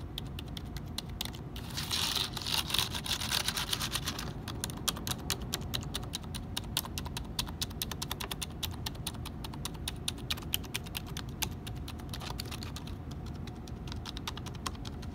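Fingertips rapidly tap and scratch the keys of a black HP plastic computer keyboard, producing a dense stream of sharp, dry clicks over a steady low hum. Around two to four seconds in, a brighter, hissy scratching rises over the tapping, and then the quick clicking continues to the end.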